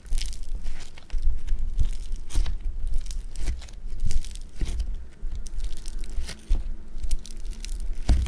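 A lump of blue foam bead clay (floam) is squished with thumbs and fingertips, giving off dense, continuous crackling and crunching with bright, sharp pops over a low rumble. The squeezes swell and fade in waves, with short pauses between presses.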